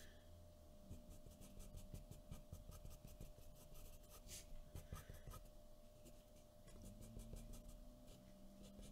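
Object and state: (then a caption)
Pencil drawing on paper. A graphite pencil draws short scratching strokes on a white paper sheet resting on a wooden table. The quiet, dry rasps come in a steady, uneven run over a low, constant hum, with brief bright scrapes standing out here and there.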